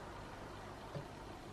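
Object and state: Nothing is struck.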